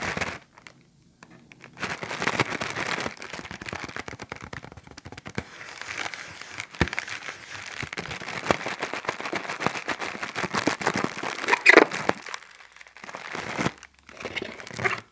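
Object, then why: Thin clear plastic bag. A thin, empty, clear plastic bag is held in the hands and crumpled and crinkled with the fingertips. Dense, bright, crackling rustles come in bursts with brief pauses and almost no low end.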